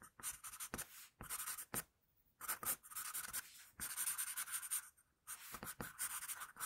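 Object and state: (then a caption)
Graphite pencil shading on paper. An HB wooden pencil held in the fingers shades a hand drawing on a flat sheet of drawing paper, making bright, dry pencil-on-paper scratching strokes. The strokes come in quick bursts of short rasps, with brief silent pauses between groups.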